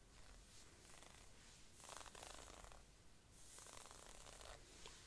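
Long painted nails and a thin wooden stick scratch a black, perforated stretch-knit synthetic sleeve on a raised arm. The result is a quiet, continuous rasping hiss that swells into brighter, stronger scratching strokes and then eases back, over a low, soft rumble.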